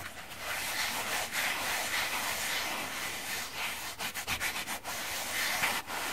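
A palm-sized oval synthetic foam sponge, solid and dry, with a yellow porous side and a printed side, is rubbed with fingertips and flipped from the printed side to the yellow side partway through. It makes a steady, bright, scratchy rubbing hiss with almost no low end, which breaks into a run of short, choppy strokes near the end before settling back into continuous rubbing.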